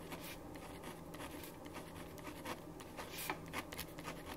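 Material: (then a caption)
Paper. A ballpoint pen writes steadily on a thin sheet of paper resting on a wooden desk, the sheet held down by the left hand while the right hand writes. Soft, bright scratching strokes come in irregular bursts over a faint low hum.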